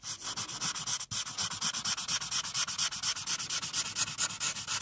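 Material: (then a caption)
Paper. A felt-tip marker, held in a hand with long decorated nails, is rubbed back and forth over a printed paper coloring page lying flat on a dark clipboard to color in the teal background. Rapid, fairly steady strokes make a bright, dry scratching hiss, with a brief pause about a second in.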